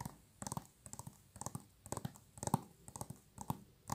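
A thin, hollow plastic PS3 game case for GTA V with a printed cover, held in both hands, is tapped and scratched with long nails. Quick, dry, clicky taps with a hollow low body and bright edges come in short rhythmic bursts about every half second, each dying away almost at once.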